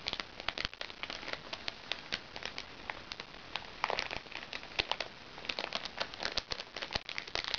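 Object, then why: Plastic package. A fingernail taps and scratches the surface of a crinkly plastic package while the other hand holds it. The result is a dense run of sharp, bright crinkling clicks and ticks over a soft, steady rustle, each one dying away almost instantly.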